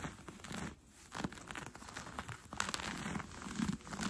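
Fingertips and nails scratch and pinch a pair of brown cotton fleece sweatpants with an elastic waistband while they are being worn. The result is a soft, continuous, crinkly rustle with irregular scratchy bursts and a brief quiet dip near the start, set against a low, muffled fabric rub.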